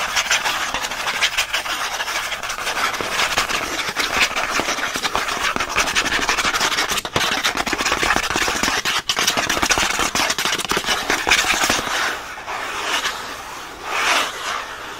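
The printed white back of a pen pack's thin cardboard backing card, held in the hand, is scratched fast and hard with short nails and fingertips. It makes a dense, continuous, bright rasping with almost no low end. The scratching thins out and softens over the last few seconds, with a brief louder swell near the end.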